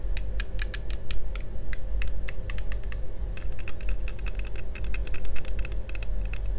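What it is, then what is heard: Plastic toy visor glasses. Fingertips of both hands tap and scratch along the frame of hollow, thin-walled yellow plastic toy visor sunglasses worn on the face. The result is a rapid, irregular series of short, bright plastic clicks, like typing, over a steady low rumble.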